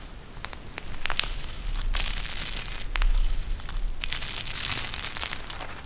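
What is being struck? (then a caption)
Plastic gel bead eye mask with fabric trim. A pink eye mask with fabric trim and a clear plastic shell filled with gel beads is bent and squeezed in both hands. Sharp crinkles and a few separate clicks give way to swelling bursts of bright, crackling, crushing noise over a low rumble.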